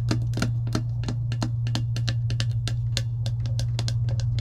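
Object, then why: Clear plastic tumbler lid tapped with fingernails. Long acrylic nails tap and scratch a clear plastic lid on a metal tumbler, giving a rapid run of sharp, bright clicks. A steady low hum runs underneath the whole time.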